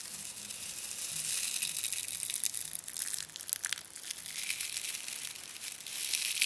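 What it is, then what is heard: Plastic angel hair tinsel. A loose pile of fine, sparkly, iridescent green and gold metallized-plastic angel hair tinsel on a dark red surface is pressed and rustled by fingertips with short red-polished nails. The sound is a steady, bright, dry crinkling and crushing, almost entirely high-pitched hiss with many quick crackles and no low end.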